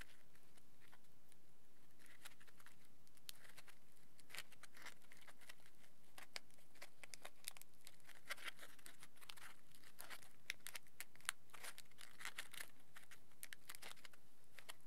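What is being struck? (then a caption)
Crumpled aluminium foil ball. A small crumpled ball of thick aluminium tin foil, hollow and loosely packed, is held and squeezed between fingertips and thumbs, crinkling and rubbing. The result is quiet, dense, irregular crackling with sharp, bright snaps scattered throughout and a soft rustling bed underneath.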